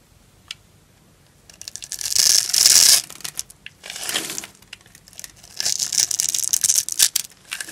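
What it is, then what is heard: Dry bar soap being cut. A knife blade scores a grid into an orange embossed solid bar of dry soap held in the palm, and cubes crumble off. Bright, dry scraping and crinkly crunching come in bursts, with the longest and loudest around the middle and later stretches. Short clicks and ticks fall between the bursts.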